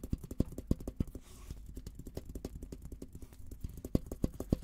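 Fingertips tap and rub the top and rim of a hollow, olive-green painted steel military helmet. A rapid, uneven run of dull, low, hollow knocks dies away almost instantly, with soft rubbing in between and a few louder taps standing out.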